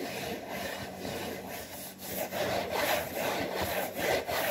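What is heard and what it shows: Fingertips and nails scratch and rub the front and back panels of a hollow, printed cardboard saltine cracker box. Dry, raspy strokes repeat at a steady pace, almost three per second, with a papery hiss centered in the mid range and a bright top edge, and short dips between strokes.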